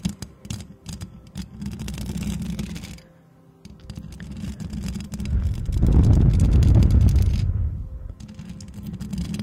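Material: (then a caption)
Metal mesh. Long acrylic nails rapidly scratch and tap the hollow metal mesh grille of a white microphone while both hands cup it. The result is a dense, fast stream of low, muffled scrapes and taps, with a brief quiet pause near three seconds. A louder, rumbling swell follows around six to seven seconds before the tapping resumes.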